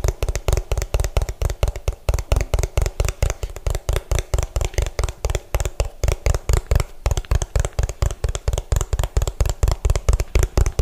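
Both hands tap fast with fingertips and nails on the bottom of an orange hollow plastic food container, its bottom facing the mic. A rapid, irregular stream of short, dull knocks with a strong low thump and almost no ring.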